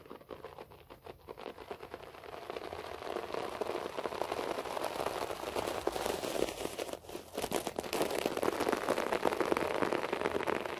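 Fingertips and nails quickly scratch and pat a beige short-pile floor carpet, with the hands briefly moving toward the camera. The result is a dense, rapid, crackly scratching centered in the mids, which grows louder over the clip and briefly drops out about two-thirds of the way through.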